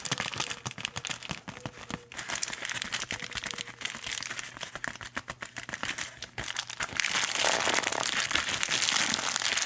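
Fingertips press and rub across a flexible, hollow, probably empty pink metallic foil bubble-lined mailer envelope, producing dense, bright crinkling and crackling. The crinkles come in quick, uneven bursts, then swell into a louder, fuller rush of rustling over the last few seconds.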